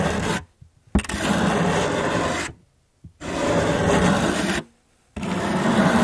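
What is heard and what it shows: A hand with long yellow nails scratches and traces a carving tool across a solid, round, flat cork coaster. Long, rough, raspy scraping strokes come in separate passes with short silent gaps between them, each stroke broad and gritty with a soft low body.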